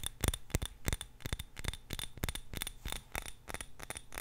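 A small purple-tinted glass jar filled with candle wax is held in both hands and tapped and scratched with long nails. A quick series of short, dry clicks and taps with brief scratchy strokes is heard, each hit bright with a faint glassy ring that dies away almost at once.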